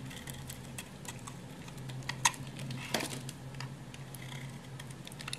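A utility knife blade scrapes thin shavings off a hand-sized, solid green oval bar of hard Lux soap held in the fingers. Quiet, irregular short scrapes and ticks with bright, crisp high edges sit over a low steady hum, with a sharper scrape standing out near the middle.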